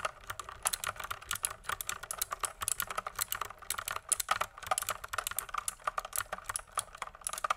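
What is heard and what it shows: A full-size pink mechanical keyboard with plastic keycaps, a hollow plastic case and a coiled cable is held up while its keys are pressed and clicked with fingertips in a typing action. A steady stream of short, sharp, bright clicks and clacks comes through, each dying away almost instantly, with a light hollow plastic rattle and very little low end.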